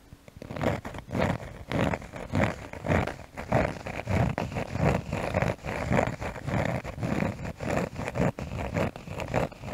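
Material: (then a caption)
Cork. A cork surface is tapped and scratched close to the microphone. The sound is a steady run of short, dry, scratchy bursts, heavy in the low end with a dull mid body, repeating at a fairly even pace and dying away almost instantly after each stroke.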